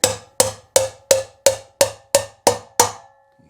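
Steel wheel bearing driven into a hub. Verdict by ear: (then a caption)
Seated. A steel wheel bearing is tapped into a motorcycle wheel hub with a driver, giving nine sharp, evenly spaced metallic taps with a short ringing tone around 535 Hz. The solid sound shows the bearing is fully seated in the hub.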